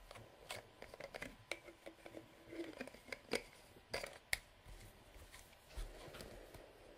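Fingertips and nails twist the black cap on a hollow, translucent plastic nail polish remover bottle with liquid inside, then tap and scratch the bottle's labelled side. The sound is a quiet run of sharp, bright clicks and taps with almost no ring, mixed with light scraping. It ends in a soft, steady scratching hiss.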